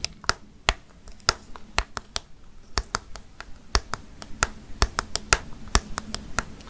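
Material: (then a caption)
Plastic. Long fake nails tap a hollow orange plastic jack-o'-lantern candy bucket with a handle and candy inside. A quick, irregular run of sharp, dry, bright clicks comes out, each dying almost instantly, over a faint low hum.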